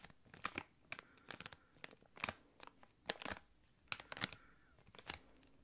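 A small, thick clear plastic packaging bag holding a card and an item is crinkled with the fingertips. It makes a series of sharp, bright crinkling and crackling bursts separated by short quiet gaps, with faint rustling in between.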